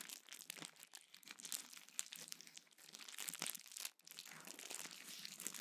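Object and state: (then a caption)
Plastic bubble wrap. A small sheet of clear plastic bubble wrap is held in both hands, squeezed and crinkled, with bubbles popped by the fingertips. The sound is a soft, steady, bright crinkling scattered with short, sharp pops and almost no low end. There is a brief near-silent pause just before the four-second mark, then the crinkling resumes.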